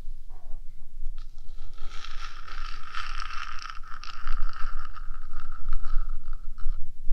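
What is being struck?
Small metal microphone body.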